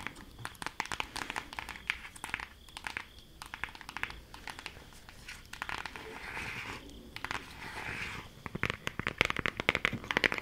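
A closed, flat, rectangular green cardboard eyeshadow palette with a printed eye design is tapped and traced with long acrylic nails. Many quick, crisp, bright taps mix with soft scratchy tracing swishes, and they stop dead with no ring.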